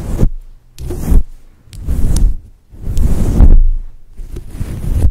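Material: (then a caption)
Synthetic fur. Long patterned acrylic nails scratch and rub over the top and sides of a fluffy synthetic faux fur microphone windscreen. The result is a series of deep, muffled swishing rubs in separate passes, rising and fading with short quiet gaps between them, with a boomy low thump and almost no bright detail.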